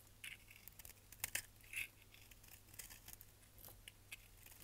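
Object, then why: Bar of soap. A hand-sized, solid dry bar of purple-and-lilac striped soap is held in one hand and shaved with a utility knife blade, peeling off curls of soap. The cuts come as quiet, bright, crisp scraping and crackling strokes with a few sharper snaps, over a faint steady low hum.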